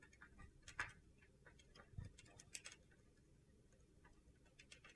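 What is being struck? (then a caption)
Bar soap scraped with a metal blade. A solid mint green soap bar held in the hand is chipped and scraped with a metal utility knife blade, leaving flakes around it. Quiet, crisp ticking scrapes and chips sound in an irregular series, with a few sharper cuts standing out.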